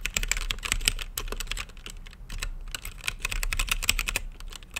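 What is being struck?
Mechanical keyboard with plastic keycaps.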